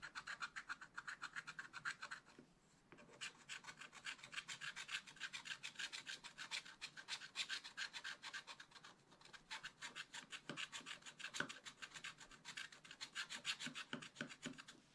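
A wooden stylus rubs and scratches a black coated scratch art sheet near the top leaves of a small spiral pad. It makes a steady run of quick, dry, bright scratching strokes, with brief pauses near 2.5 and 9 seconds and almost no low end.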